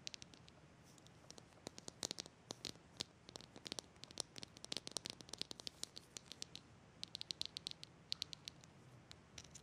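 A small green plastic jar is held and turned in the hands while fingertips and nails tap and scratch its sides. The result is a quiet, irregular stream of short, bright clicks and scratchy ticks with almost no ring, over a soft hiss.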